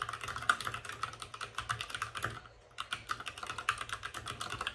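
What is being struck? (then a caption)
Mechanical keyboard with plastic keycaps. Both hands type rapidly with their fingertips on a white compact mechanical computer keyboard with plastic keycaps and RGB backlight, resting on a desk with a padded wrist rest. A fast, steady stream of short, bright plastic clacks centered around 1.2 kHz fills the clip, broken by a brief near-silent pause just before the typing resumes.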